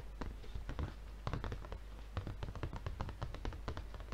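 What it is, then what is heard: Plastic-wrapped paper pad. A red paper refill pad, still in its plastic wrap and tilted, is tapped rapidly with the fingertips of one hand against its film-covered front. The result is a quick, uneven patter of soft, dull taps with a low thump and a faint plastic crinkle. Each tap dies away almost instantly.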